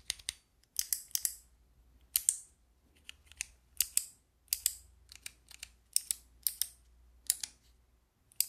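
Long nails click and tap the white keycaps of a handheld fidget toy with a clear plastic frame. Sharp, bright, dry clicks come in irregular bursts and quick doubles, each dying away almost instantly with almost no low end.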